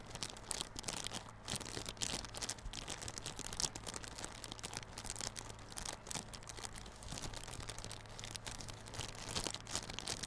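Fingertips and nails scratch and rub the clear plastic film wrapped around a small yellow cardboard Realme Buds Classic earphone box, which is held on its long side. The result is a continuous, bright, crinkly scratching with quick dense rustles over a faint steady low hum.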